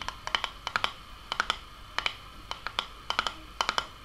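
Long painted nails tap and scratch a medium glass sauce jar, mostly empty with sauce residue inside, and its red metal screw lid. Around twenty short, bright clicks come in quick clusters, each with a brief glassy ping near 3 kHz that dies away almost at once. Faint scratching fills the gaps.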